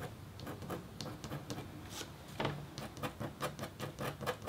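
The metal tip of a red stylus scratches rapid, short strokes into a flat, thin, solid scratch board of black-coated copper foil. Quiet, dry scratches sound one after another, each a brief bright rasp with a faint low murmur beneath.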